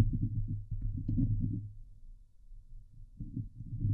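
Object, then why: Steel mesh microphone grille. Long glitter nails on both hands scratch a hollow steel mesh microphone grille, producing dense, low rumbling scrapes concentrated around 100 Hz. The scratching is loud at first, fades to a quieter stretch in the middle, then returns louder near the end.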